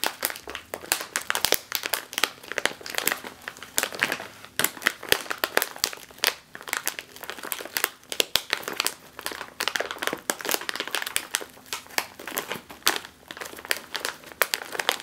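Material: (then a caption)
Metallized plastic. A sealed, metallized foil snack chip bag rests on a table and is pressed and crinkled with the fingertips and long nails. The result is dense, bright crinkling with many sharp crackles and snaps that die away instantly, with almost no low end.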